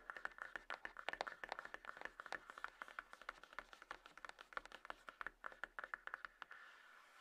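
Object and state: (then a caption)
Cardboard smartphone box. Long acrylic fingernails tap quickly and unevenly on the lid top and edges of a small, closed, hollow grey cardboard iPhone box resting on a table. The result is a dense run of short, dry clicks with a hollow papery tone around 700 Hz to 2 kHz and no low end. The taps stop near the end, leaving a faint hiss.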